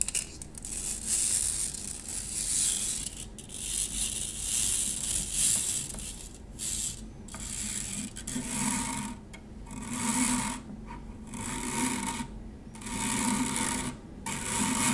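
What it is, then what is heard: Stainless steel mesh strainer. Long nails scratch across the mesh of a medium, hollow stainless steel wire-mesh kitchen strainer with handles lying on a table. Bright, raspy scraping comes in repeated strokes and swells, separated by short quiet gaps. In the second half, a faint low hum and a soft mid tone sit under the scratching.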